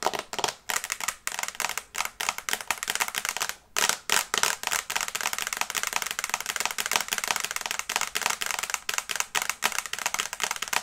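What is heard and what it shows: Long nails tap fast on the glass screen of a small flat smartphone in a teal and brown case, held in both hands. The result is a dense, continuous stream of sharp, bright clicks with almost no low end, each tap dying away almost instantly.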